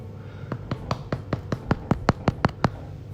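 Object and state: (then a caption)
Baked-through bread loaf (sounds hollow). A freshly baked homemade bread loaf, just out after about 25 minutes of baking, is tapped 12 times to check whether it is done. Each tap is a short, dull, low thud with almost no ring, and the steady run of taps sounds hollow, meaning the loaf is baked through.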